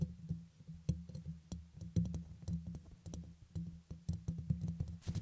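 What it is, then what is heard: Microphone grille tapped. Fingertips with short nails tap and scratch the hollow, fist-sized, dome-shaped black metal mesh grille atop a red USB microphone. A rapid, uneven series of soft, deep thumps carries a low hum-like body, with thin bright scratchy ticks on top. Each tap dies away almost instantly.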